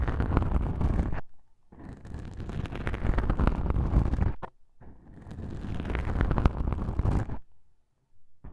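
Two small black, soft porous foam windscreens on a binaural microphone are pressed together and rubbed and scratched by one fingertip with a long pink nail. The result is a deep, muffled mic-contact rumble with soft, dense crackling scratches, coming in three long stretches separated by brief quiet pauses.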